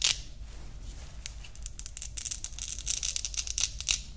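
A grey woven nylon watch strap is folded between the fingers while its hook-and-loop part is pressed and ripped close to the mic. The result is a series of quick, bright, crackly rasps and scratchy bursts that grow denser and louder toward the end, over a faint low hum.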